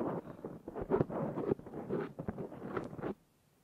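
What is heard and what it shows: Fingernails of both hands scratch a black foam windscreen fitted on a Zoom H6 recorder, producing a dense, rough, rustling scrape in quick uneven bursts that sits mostly in the low-mid range. The scratching stops abruptly at about three seconds, leaving near silence.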